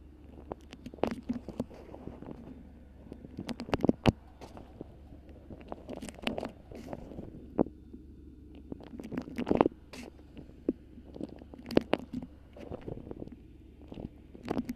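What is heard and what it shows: A thin, stiff, colorful patchwork-print beeswax-coated cotton food wrap is held around a microphone and gripped, crinkled and scratched with long nails. Close, dense crinkling and scratchy rustling come in irregular bursts, punctuated by sharp, bright crackles over a steady low hum.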